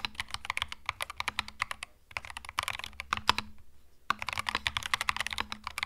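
Fingertips type on a compact cream mechanical keyboard with plastic keycaps, producing rapid, bright, sharp clicks with very short decay. The typing comes in three bursts separated by brief pauses around two and four seconds, over a faint steady low hum.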